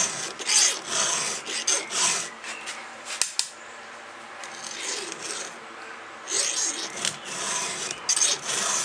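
A gloved hand strokes a round steel file, held in a red guide, across a cutter tooth of a solid steel chainsaw chain on its bar. Bursts of bright, high rasping scrapes come in an uneven rhythm, broken by two sharp clicks and a quieter stretch in the middle before the filing strokes resume.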